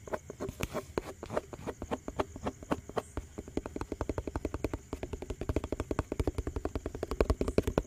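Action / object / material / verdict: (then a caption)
tap / plastic tub with lid / plastic / none. A hollow yellow plastic tub with its lid on is tapped fast on the lid and sides with fingertips and nails. It makes a rapid, uneven stream of short, dry knocks with a low thump and a hollow mid-pitched tone. A faint steady high tone runs underneath, and the taps grow slightly louder and denser toward the end.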